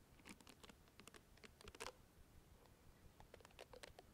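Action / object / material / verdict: scrape / plastic facial cleansing brush with bristle head / plastic / none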